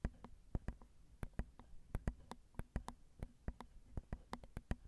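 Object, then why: Metal mesh microphone grille tapped with fingernails. Long acrylic nails tap the small hollow metal mesh grilles of a Zoom recorder's XY microphone capsules in a quiet, uneven rhythm. About 23 short, dry clicks each carry a deep, low thump and die away almost instantly.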